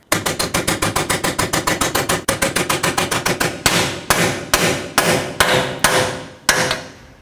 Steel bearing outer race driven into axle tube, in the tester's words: as soon as it bottoms out it'll sound more like a hollow sound as opposed to a full Rich sound